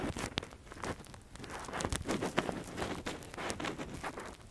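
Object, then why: Silicone ear model scraped with a metal pick. A metal earpick scratches deep inside the canal of a silicone ear model held by gloved fingers. The result is a steady run of close, dry crackles and rustling scrapes with brief brighter clicks, and it stays fairly quiet throughout.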